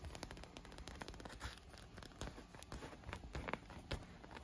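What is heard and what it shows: Long nails and fingertips tap and scratch a large inflated clear PVC vinyl pool lounge with rainbow-colored tubes, hollow and air-filled. The result is a quiet, dense run of quick crackly taps and scratchy rubs, each with a soft low thump under a bright, dry click and no ring.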